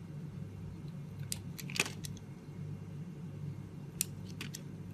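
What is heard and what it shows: A metal utility-knife blade carves and scrapes curls off the pink layer of a hand-held, palm-sized oval bar of solid multicoloured soap with an embossed logo. Short, bright scraping and cutting ticks come in clusters, with the sharpest around the middle and near the end. A low, steady hum sits underneath throughout.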